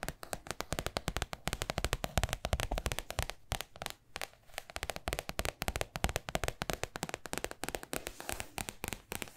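Long acrylic nails and fingertips tap and scratch the paper surface and edges of a large white spiral-bound paper sketchbook with a thick cardboard-backed pad, held upright. The result is a fast, steady stream of short, dry taps with a dull low thump under crisp, bright scratchy clicks. The taps ease off briefly near the middle before picking back up.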